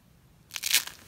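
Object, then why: Coiled soap curls. A bare hand squeezes one small light-blue dry soap rose, made of thin, brittle coiled curls of the same blue soap, between fingertips and palm, crushing it into flakes on a rubber mat. After half a second of near silence comes a short, crisp, bright crunch: a first sharp crack, then a louder burst of dry crackling that quickly trails off. The sound is almost all high and papery, with no low end.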